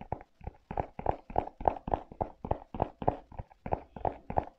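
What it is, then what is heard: Rubber-soled leather sneaker being tapped. Fingers grip and tap a rubber-soled leather velcro sneaker, first on the leather upper and straps, then on the treaded rubber sole. About 20 short, dull taps land in a quick, uneven rhythm, with a muted midrange thump and no ring after each hit.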